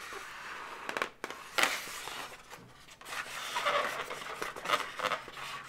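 Long nails scratch and rub the surface of an inflated, hollow blue latex balloon dog up close. The result is a series of bright, squeaky rubs and scrapes with a few sharper peaks over a steady hiss, with almost no low end.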